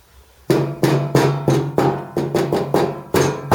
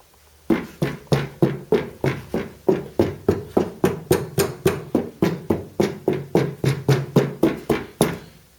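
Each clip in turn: First: tinny steel scuttle panel without sound deadening. Second: sound-deadened steel panel, damped.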